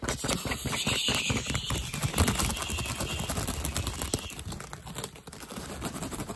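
Fingertips and nails tap and scratch the weave of a woven straw hat brim held close to the camera. The result is fast, irregular, dry tapping mixed with crisp, crackly scratching, each tap dying away almost at once over a steady bright rasp.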